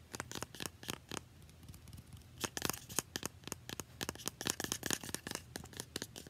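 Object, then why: Small plastic spray bottle. Long nails rapidly tap and scratch a small, partly filled, translucent plastic facial spray bottle with a paper label. Quick, bright clicks come in uneven bursts with almost no ring, over a soft scratchy hiss. The tapping thins out briefly near the start, then returns denser and louder.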